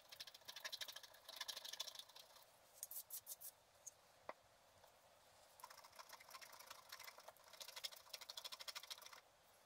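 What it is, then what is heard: Scratch art card being scratched. A wooden stylus scratches and rubs the black coating of a flat, coated scratch art paper card in quick strokes. Bright, dry rasping bursts come in clusters, broken by a few quieter pauses and sharp ticks, with almost no low end.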